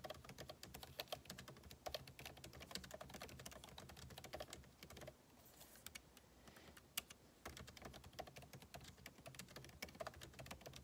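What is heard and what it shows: Fingertips type rapidly on a backlit MacBook Pro keyboard with plastic keycaps set in an aluminum body, making a dense stream of quick, bright clicks with soft low thumps. The typing thins to a quiet lull from about 5 to 7.5 seconds, broken by a single sharp click near 7 seconds, then resumes at the same fast pace.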